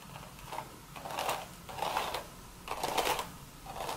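Long, pointed red acrylic nails scratch in circles over the woven crown of a cream straw sun hat, which sits upside-down with its wide brim out, hollow and empty. The scratching comes as dry, crackly swells that rise and fade in repeated waves, with a papery midrange rasp and a bright, hissy top.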